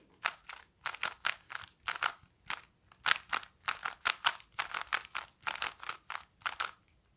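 A small solid-core plastic Rubik's cube with colored stickers is held in both hands while its layers are twisted and clicked with the fingertips. Rapid, bright plastic clicks and scrapes come in short, dry bursts with no low-end body and almost no ring.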